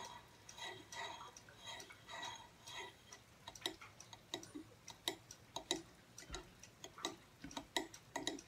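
Fingertips and short nails tap the thin angled back plate of a small silver aluminum tablet/phone stand with a solid base, standing upright on a wooden table. The early taps are softer, clustered strokes; later ones turn into sharp, bright metallic clicks with a faint ring. The quick, ticking rhythm sounds like a clock.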